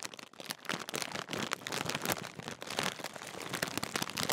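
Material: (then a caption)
Metallised plastic. A large Walkers crisp packet made of metallised plastic film, apparently sealed and full, is held up and crinkled with the fingertips. The sound is a dense, continuous run of bright, crisp crackles with little low end, growing slightly louder toward the end.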